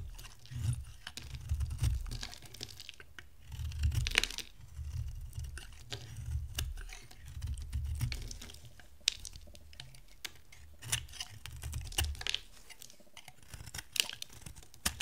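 An oval, solid yellow bar of dry soap is held in the hand and carved into chunks with a box-cutter blade. Crisp, bright scraping and crackling snaps repeat throughout over a soft low rumble. Each cut ends dry, with no ring afterward.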